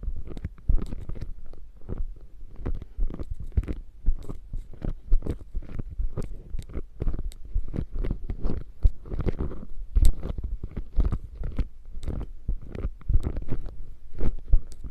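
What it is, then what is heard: Quilted faux leather bag. Flat fingertips and palms rub and pat the padded, quilted surface of a beige quilted faux leather bag flap. The result is a steady run of soft, muffled low thumps with short brushing scuffs and faint crackly highs, each pat dying away almost at once.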